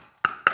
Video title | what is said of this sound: Collection gomille deco 3D petite sirène | C'est bien du bois. Écoutez, on dirait que je toque à la porte.